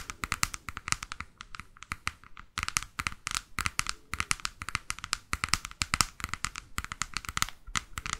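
Long fake nails tap and scratch the glossy laminated board front cover of a large, solid hardcover photo book about Mexico. A fast, steady run of crisp, bright clicks and dry scraping fills the clip, each tap dying away almost instantly. There is a brief pause of quieter tapping just before the midpoint.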